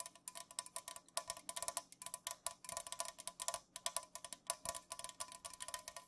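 Long nails and fingertips tap fast on an unopened, full Pepsi aluminum can lying on its side on a mat. The result is a quick, dense stream of short, bright, clicky taps with a faint metallic ring around 1 kHz, each dying away almost instantly and coming in uneven bursts.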